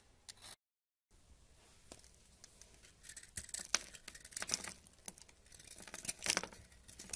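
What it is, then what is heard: Bar of soap being carved. A solid tan bar of soap held in the hand is carved with a purple metal knife, cutting and scraping so that flakes crumble off. The result is a series of crisp, bright crunching and scraping sounds that grow denser and louder after a brief silent gap near the start.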